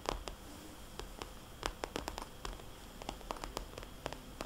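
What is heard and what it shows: A small red polka-dot glossy plastic cosmetics bag lying on its side is scratched and tapped with long dark-painted nails. Quick, irregular taps land as sharp, bright clicks that stop dead, with soft scratching between them over a low, steady hiss.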